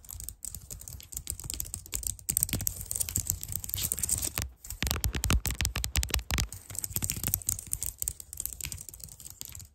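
Long dark nails tap and scratch across a white plastic computer keyboard with clicky keys. The result is a dense, steady clatter of sharp, dry clicks with a high, bright edge and scratchy rasps between them. A brief lull comes near the middle before the tapping picks up again.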